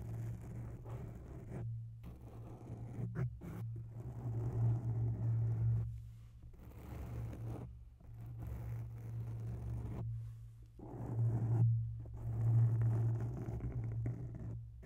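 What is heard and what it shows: Long bare nails slowly scratch the lower sides of a grey oval foam microphone windscreen. The result is a deep, muffled rubbing rumble centred around a low hum near 110 Hz, rising and falling in long, soft swells. Brief quiet gaps separate the strokes.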